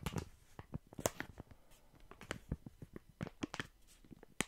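A full, soft plastic-film packet of wet wipes is held in both hands, squeezed, crinkled and scratched with fingertips. It produces a quiet run of dry, crackly crinkles and sharp scratchy ticks that spread from low up to bright highs, each one dying away almost instantly.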